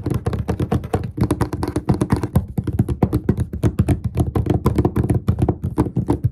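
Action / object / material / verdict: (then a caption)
tap / wooden desk top / wood / none. Both hands tap the flat top of a large, solid, dark-stained wooden desk with short fingertips and nails in quick, rhythmic bursts. The taps are dull, low-pitched knocks that die away almost instantly, running in a steady, dense patter with brief pauses between runs.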